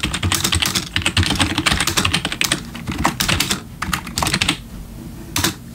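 Bare fingertips of both hands type on a full-size black plastic membrane gaming keyboard with RGB backlit keys, resting on a wooden desk. Rapid, uneven streams of short, bright plastic key taps with a soft low thump run nearly continuously. Near the end they fall to a quiet pause before one last brief burst.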